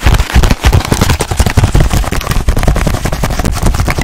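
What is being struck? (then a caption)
Small printed cardboard box. Long nails quickly rub, scratch and tap a small rectangular cardboard box printed with ladybirds. The result is a dense, rapid run of short, dull thumps and scrapes, heavy in the low end with little brightness, each tap dying away almost at once.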